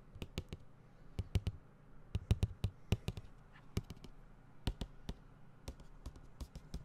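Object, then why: Cardboard box. A medium-size, hollow, closed white cardboard tablet box with a tablet image on its side is held in one hand and tapped repeatedly with the fingertips and nails of the other. The result is an irregular run of short, dull, hollow low thuds with a faint bright click on each one. Each tap dies away almost instantly.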